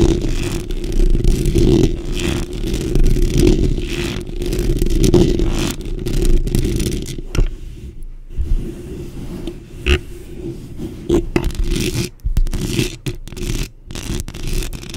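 Long pink acrylic nails on both hands rapidly scratch and tap the rounded metal mesh grille of a black microphone. The result is a dense, low, rumbling scrape with a steady hum-like tone around 355 Hz, broken by quick, irregular taps and brief, sharp ticks.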